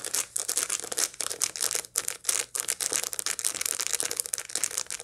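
Long light-blue nails scratch over the seed surface of a dried sunflower head held in both hands. The result is a dense, bright, crackly rasping in quick uneven bursts with short dry gaps, almost no low end and no ring after each stroke.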